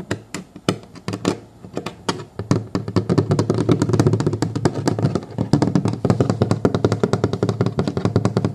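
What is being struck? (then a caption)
Molded plastic booster seat shell. Fingertips and short nails of both hands tap and scratch the smooth plastic base on the underside of a child booster car seat, a hollow molded plastic shell with a textured foam rim resting on a wooden table. Scattered, sharp taps open the clip, then build after about three seconds into fast, dense tapping with hollow, low-pitched thuds and crisp clicking edges. Each hit dies away almost at once.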